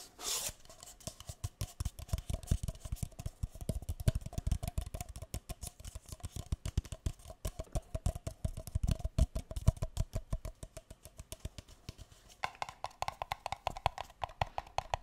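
Fingers rapidly tap the bottoms of two empty, hollow, pale green paper cups held upside down, making a dense run of short, dull, low knocks with almost no ring. The quick taps continue throughout the clip, and near the end the tone shifts to a slightly brighter, more hollow sound.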